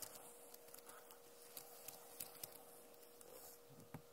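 Long nails tap on the plastic keycaps of a backlit Acer laptop keyboard, with a recorder sitting untouched in front of it. Sharp, bright clicks with almost no ring stand out against a quiet, faint hiss and a steady low hum near 500 Hz.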